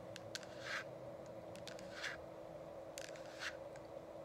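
Long acrylic nails on both hands tap and click against the sides of a hollow, frosted plastic dome essential oil diffuser with a changing light. Sharp, bright clicks alternate with softer scraping swishes, all over a steady low hum.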